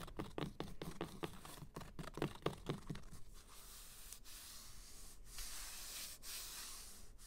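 Short green-painted nails scratch and rub across the spines of a solid stack of hardcover books with paper dust jackets and cloth-bound spines, resting on glittery fabric. A quick run of dry, papery scratches with a low thump in each stroke opens the clip, then gives way to a softer, steady brushing hiss with a few brief pauses.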